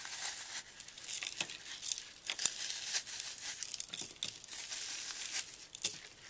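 A hand-sized brick of green floral foam, porous and solid rather than hollow, with a dried orange and white paste crust and glitter, is held over a dark table while short-nailed fingertips press, rub and crumble the crust. The result is quiet, crunchy crinkling: a dense stream of sharp, bright crackles with brief louder snaps and almost no low end.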